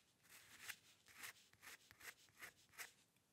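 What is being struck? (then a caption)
Steel pen nib on paper sheet. A steel-nib dip pen with ink scratches repeated short strokes across a flat sheet of white drawing paper resting on a dark table. Each stroke is a quick, dry, bright scratch with almost no low end, rising and fading in a steady rhythm of separate bursts over a quiet background.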